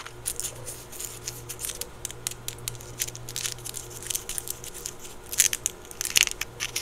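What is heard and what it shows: A small round chocolate in a crinkly gold foil wrapper is held in both hands while the foil is crinkled and scratched with fingertips and nails. The result is a steady run of quick, bright crackles and scratchy ticks over a faint low hum, with the sharpest, loudest crinkles near the end.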